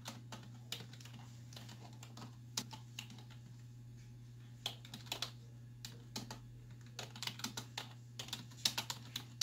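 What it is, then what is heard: Plastic computer keyboard. Both hands with long white nails type on a black plastic desktop keyboard with hollow keys, striking with fingertips and nail tips. Quick, bright, hollow clicks and taps come in uneven bursts over a steady low hum, with each keystroke dying away almost at once.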